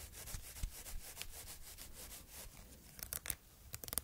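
A small red-and-white polka-dot fabric bow tie is held in the fingers while long red nails rub and scratch its fabric. A soft, steady rustling with bright, airy scraping runs throughout, breaking into quick, sharper scratches near the end.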